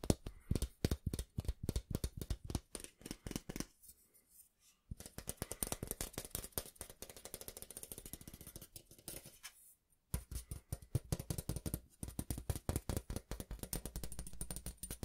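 A long, flat, solid stainless steel ruler held over the microphone is tapped and scratched along its surface with fingertips and short nails. Rapid, dry taps and scratchy strokes come in dense bursts, with brief near-silent pauses around 4 and 10 seconds. Each tap is a dull, low thud with almost no ring.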